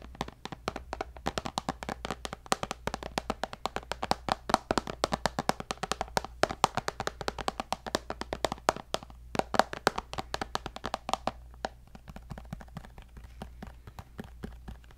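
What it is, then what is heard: Tablet glass screen tapped. A white tablet with a glass screen, in a black case and held upright, is tapped on the screen with fingertips and nails. Quick, dry taps and clicks ring around 770 Hz, falling into dense, rapid runs over a faint steady low hum. The tapping eases off and grows softer toward the end.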